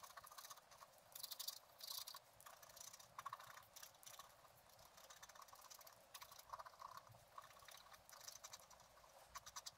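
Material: Coated paper.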